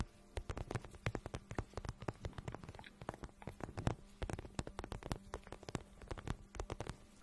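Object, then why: Patent vinyl boot. A hollow pink patent vinyl boot is held in front of the mic while fingertips and long nails rub and tap its surface. Quiet, rapid, irregular taps and scratches sound dull and low, each dying away almost at once, over soft rubbing and a faint steady low hum.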